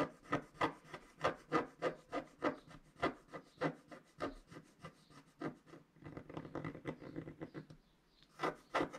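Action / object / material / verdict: scrape / wax-coated scratch-art card scratched with a wooden stylus / waxed paper / none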